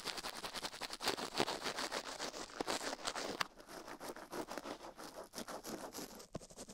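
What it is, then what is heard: Silicone ear of a binaural microphone being brushed. A gloved hand quickly brushes the ear canal and rim of the left silicone ear of a binaural microphone with a toothbrush while the ear rests on a steel plate. The result is a rapid, uneven run of dry scratching and bristle strokes, bright and hissy with almost no low end.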